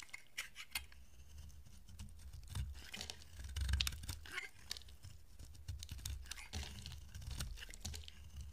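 A utility-knife blade shaves curled flakes off a solid, dry, peach-colored oval bar of soap with a blue coated rim, held in the hand. Quiet, crisp scraping and crackling sounds repeat in many short, bright strokes over a low rumble.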